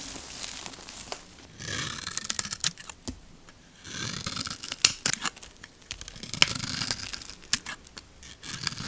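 A metal blade scrapes and shaves the lacquered coating off a solid blue bar of soap, revealing a pink layer underneath, while the bar is held in one palm. The sound is bright, crisp crackling and tearing in several bursts, dotted with sharp little clicks as flakes of lacquer break away, with quiet gaps between strokes.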